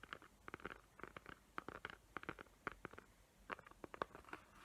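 Long nails tap and scratch the glittery lid of a small square cardboard gift box covered in glitter paper, tracing its raised hot-glue tree outlines. The result is a quiet run of short, dry clicks and scratchy ticks centered in the midrange around 1 kHz, each dying away almost instantly, with brief scraping rustles between them.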